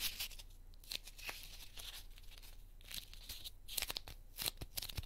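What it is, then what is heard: Corn starch foam cushioning being crumbled. A small, solid pink heart-shaped piece of corn starch foam cushioning is pinched and crumbled with fingertips and nails, breaking off small fragments between the fingers. Dense, bright crackles and crunchy tearing snaps come in quick, uneven bursts over a faint low hum.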